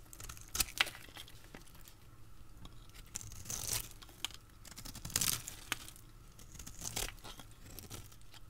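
A hand holds a solid, dry, pale green rounded bar of dried soap while a utility blade cuts thin, crisp slices from its edge. The result is a series of bright, dry scraping and crunching cuts with sharp clicks, separated by quieter rasping strokes.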